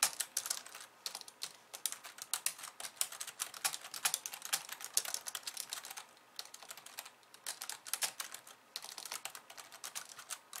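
Fast two-handed typing with long nails and fingertips on a pink plastic slim keyboard with white keys produces a rapid stream of sharp, bright clicks and taps with almost no low end. The keystrokes come in dense bursts with brief lulls around the middle and just before the end.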